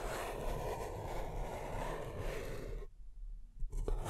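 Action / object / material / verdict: scrape / empty paper cup / paper / none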